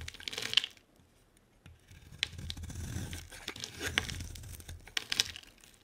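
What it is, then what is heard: Bar of soap being shaved. A solid purple rectangular bar of soap is held in the hand and shaved into curls with a utility-knife blade. Bright, crisp scraping and tearing sounds come in bursts with sharp clicks, with a short quiet gap after the first pass. A steadier, softer shaving rasp follows until the end.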